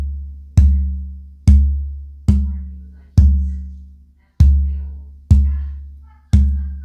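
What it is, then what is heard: Torrified spruce guitar top, rings out. A torrified old-growth double-A Adirondack spruce acoustic guitar top plate is held up to a mic and tapped seven times in a tap tone test. Each tap gives a deep, resonant thump around 70 Hz that decays slowly, with a brief bright click at the start. The torrified top rings out a little more than the non-torrified one.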